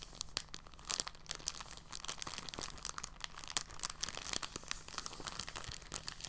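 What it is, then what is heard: Soft plastic bag being crumpled. A thin, clear, empty polyethylene bag is lifted from a table and crumpled and squeezed in both hands. Soft, continuous crinkling is heard as a dense run of quick, bright crackles, with a faint steady low hum underneath.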